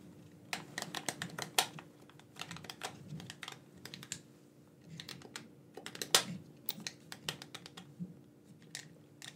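A black, wired, hand-sized hollow plastic gamepad is held in both hands while thumbs and fingertips click its buttons. About thirty short, bright plastic clicks come in irregular bursts, some quick and clustered, with two louder snaps standing out. A faint, steady low hum sits underneath.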